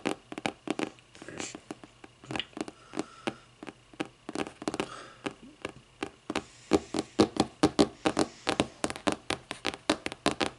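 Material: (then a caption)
Cardboard. Long nails tap on the lime-green board spine and cover edge of a closed hardcover book lying on its spine. Dozens of quick, dry taps with a short clicky decay and a hollow mid-range body follow one another, growing louder and more regular in the second half over a faint low hum.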